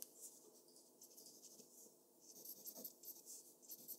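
A mechanical pencil scratches short, rapid strokes across a flat white sheet of drawing paper resting on a desk. The sound is a quiet, dry, bright scratching with almost no low end, made of quick separate strokes that stop without ringing.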